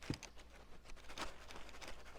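A cardboard shipping box holding a potted pink princess plant is shaken as a test, giving only quiet, soft muffled patters and light rustles with little rattle. The faint, subdued sound shows the plant is well packed and its contents are secure.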